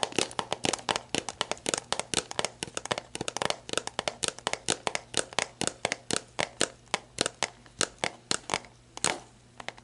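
Long black nails press, scratch and tap a clear, labeled plastic sports drink bottle, hollow and mostly empty, lying on its side. A quick, steady run of sharp, bright clicks with very short decay fills the clip, with the thin plastic crinkling between taps over a faint low hum.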